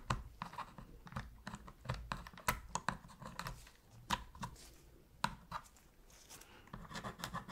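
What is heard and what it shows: A metal pick repeatedly scratches and taps along the seams near the buttons and D-pad of a black, hollow plastic PS3 controller while cleaning it. It makes quick, dry clicks and scraping ticks with very short decay and a faint ringing tone around 1 kHz, irregularly spaced over a quiet background.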